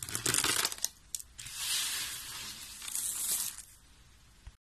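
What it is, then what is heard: Dry soap flakes. Fingertips of both hands rub, press and crunch through a large pile of thin, brittle pink dry soap shavings on a white surface. A dense burst of bright, crackly crunching comes first, then a couple of short crackles. A longer rustling crunch follows and fades into quiet with one last faint crackle.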